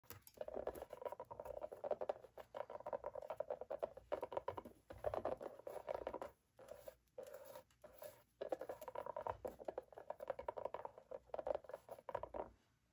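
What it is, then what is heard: Plastic mannequin face mask. Long black-painted nails and fingertips tap and scratch over the brows and eye area of a hollow plastic mannequin face mask lying face-up on a wooden table. Dense bursts of quick, clicky tapping and scratching carry a hollow midrange tone and are separated by brief pauses.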